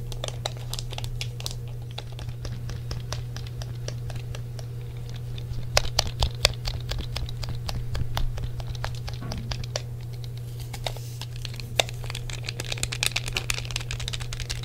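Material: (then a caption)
Plastic. A hollow grey plastic PlayStation controller is held in both hands while fingertips tap its shell and press its buttons. The result is a quick, irregular patter of short, dry plastic clicks and taps, some sharper and brighter than others, over a steady low hum.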